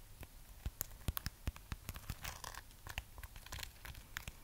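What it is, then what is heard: Wax-coated amaryllis bulb. Long fingernails scratch the textured wax surface of a solid, hand-sized red waxed amaryllis bulb. It makes a quiet, dense run of sharp crinkling scrapes and clicks with bright, crisp edges over a low, rumbling body.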